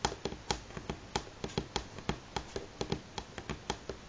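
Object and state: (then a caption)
Wooden tabletop. Fingernails from both hands tap a solid light pine wooden tabletop in a quick, irregular rhythm, with about 19 short, sharp clicks standing apart. Each tap is brief and dry with a woody knock around 800 Hz and a bright edge, dying away almost at once over a quiet background.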